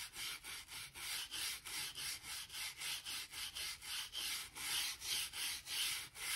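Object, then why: Oak plank floor. A hand-held gap brush with stiff grey bristles and a blue handle scrapes and sweeps dirt and dust along the seams between large solid oak floorboards. Rapid, rhythmic back-and-forth strokes produce a dry, bright, hissing scratch with almost no low end, each stroke swelling and fading in a steady, even cadence.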